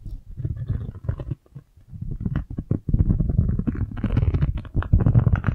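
A single round yellow silicone scrub pad is scratched and tapped with long nails and fingertips, and then its bristles are flicked. This makes a dense, low, rumbling patter of soft scratches and taps with a brief near-quiet pause. It then turns into louder, busier flicking with brighter crackly edges toward the end.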